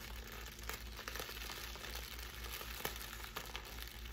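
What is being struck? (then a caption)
Plastic air-pillow packing wrap. Clear plastic air-pillow packing wrap with blue print and air-filled cells is crumpled and squeezed by fingers with long pink nails. It makes a steady, bright crinkling and crackling with occasional sharper snaps, over a constant low hum.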